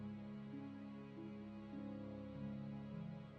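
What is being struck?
Nothing is struck.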